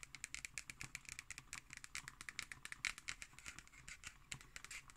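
Long green nails tap quickly and scratch across the cover and label of a black cardboard hardcover notebook. The result is a quiet, rapid stream of dry, bright clicks with almost no ring, mixed with soft scratchy rasps.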